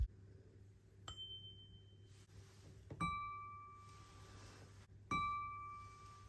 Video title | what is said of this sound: How To Identify Lead Crystal Glass | you'll get a nice chiming sound